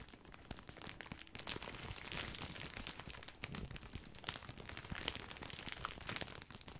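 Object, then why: Plastic bag of breadsticks. A large, full, white printed plastic bag of grissini breadsticks is crinkled with the fingertips. It gives a steady, bright crinkling and crackling with many sharp, short snaps over a low rustle, and no ring after each crackle.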